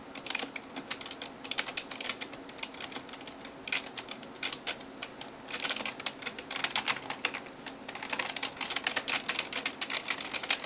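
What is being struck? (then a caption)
Plastic computer keyboard keys. Fingertips and nails type on the keys of a backlit plastic gaming keyboard. The result is a steady stream of quick, bright, dry clicks and taps with almost no low end, coming in busy bursts with a short quieter stretch around the middle.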